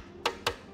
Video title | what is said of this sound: Curhat Soal Motor 2 Tak | karbon yang ee cetakan bunyinya beda